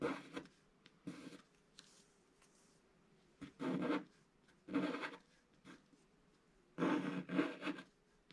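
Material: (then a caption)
Coated paper. A wooden stylus scratches the coating off a flat, black-coated scratch-art paper page in short, dry, raspy strokes, separated by pauses of near silence. The scratches are soft and mid-pitched with a little brightness, over a faint, steady low tone underneath.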